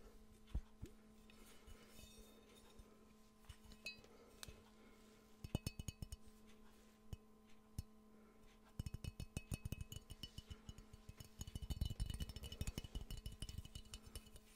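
A hollow, empty yellow ceramic Pikachu mug with the face printed on it is held close and tapped with the fingernails. Sharp, bright clinks come in sparse taps at first, then in dense rapid bursts, over a steady low hum.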